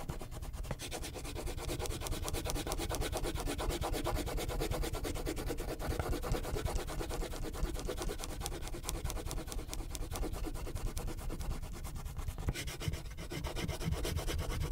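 A purple wax crayon is scribbled and rubbed firmly in short, dense strokes over a thin paper sheet lying flat on a clipboard. The result is a continuous, rapid, scratchy rubbing with a heavy low thump from the clipboard, holding steady for the whole clip.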